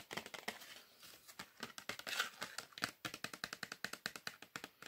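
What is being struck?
Small cardboard chocolate box.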